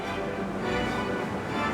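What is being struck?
Nothing is struck.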